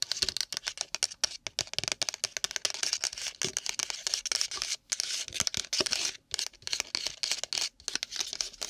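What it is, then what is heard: Packaged nori seaweed tapped and scratched. Long nails rapidly tap and scratch a pack of nori seaweed in its packaging. A dense stream of dry, bright crinkly clicks and scrapes comes in quick bursts with brief pauses, with almost no low end and no ring after each hit.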